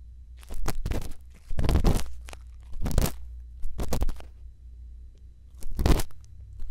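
A thin bamboo earpick scratches inside the canal of a white silicone ear microphone, giving close, crunchy, crackling scrapes in several separate bursts over a low, steady rumble. Each burst is dense with rough, bright grit and fades quickly once the pick stops.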